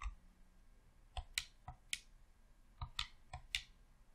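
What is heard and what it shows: Thumbs click the thumbsticks and buttons of a hollow red plastic Xbox controller. Eight short, dry plastic clicks come at an uneven pace, each with a bright, sharp snap and a soft low thump. They die away almost instantly over a quiet background.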